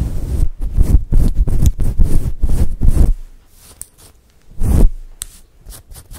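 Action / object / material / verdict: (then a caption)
scrape / synthetic fur microphone windscreen / synthetic fur / none. Long acrylic nails scratch a fluffy grey and white faux fur windscreen covering a microphone. The result is dense, low, rumbling scratching strokes for the first three seconds, then quieter rustles, one more heavy scratch burst, and a few light scratches at the end.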